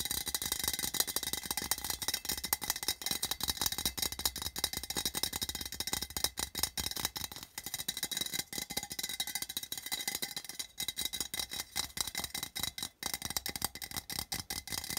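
Fingertips and nails tap rapidly on the side and seam of a small, open, empty printed metal tin lying on its side. The quick, hollow, bright clicks and taps die away almost instantly, with very little low end.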